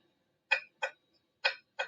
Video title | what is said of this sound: Glass lab part 1 DATA | this is a different size class but it does have a different sound when i ping it